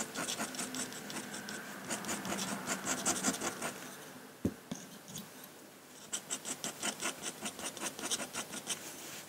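A metal dip-pen nib in a wooden holder scratches across a large, flat sheet of white drawing paper in continuous short drawing strokes. Bright, rasping scratches come in rapid bursts, pause briefly around a single soft thump midway, then resume in a steadier rhythm of quick strokes.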